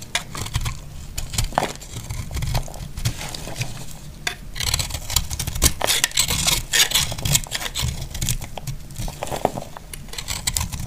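A solid, dry glycerin soap heart marbled pink, green and purple is held in the hand and cut into flakes with a metal utility knife blade. Rapid, dry scraping and crackling cuts repeat throughout, with short bright clicks over a low rumble.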